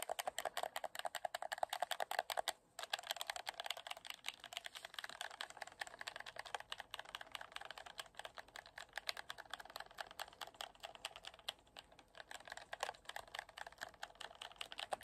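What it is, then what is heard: Plastic game controller buttons clicked. A white PS4-style plastic gamepad with a glowing light bar and a hollow, hand-sized shell is held in both hands while fingertips rapidly press and click its buttons and sticks. The result is a dense, steady stream of sharp, dry, typing-like clicks with a hollow plastic tone around 700 Hz and a bright upper edge. There is a brief pause near the 2.7-second mark.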